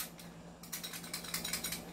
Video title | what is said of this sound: Review N Unbox of 5.1 Trex Silver & CZ Shadow 2 Orange | Kumakalog po ito. Kumakalog po. Kasi po, hindi po siya upgraded, okay?